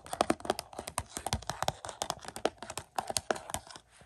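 Several fingertips tap quickly on a hollow Mission: Impossible 4K Blu-ray case in its cardboard slipcover, lying flat on carpet with the back cover up. The result is a rapid, uneven patter of dry, hollow clicks and knocks centered around 640 Hz, each dying away almost instantly, with little bass.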